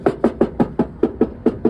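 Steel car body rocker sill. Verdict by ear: Solid.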